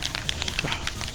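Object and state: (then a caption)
Aerosol can with rattling mixing ball. An aerosol spray can of product is shaken hard while prepping to strip the wheels, its mixing ball rattling inside. About eight quick, bright clicks ring over a low, hissy rumble. The can stays closed throughout.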